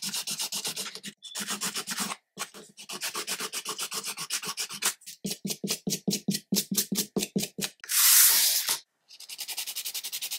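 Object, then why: Foam nail buffer block on fingernails. A small rectangular purple-and-black foam nail buffer block is held in one hand and rubbed back and forth across the fingernails of the other hand over a white paper-covered table. Quick, bright, raspy scrubbing strokes repeat in steady bursts, with a faster run of separate strokes near the middle. A brief louder, hissier rub follows before the steady buffing resumes.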